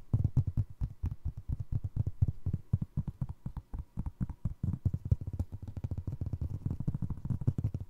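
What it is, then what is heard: Foam clog sole. Fingertips and nails tap and scratch the ridged sole of a single navy blue foam resin Crocs clog. The result is a steady stream of dozens of quick, soft, muffled thumps, deep and dull, with almost no bright or high content and no ring after each tap.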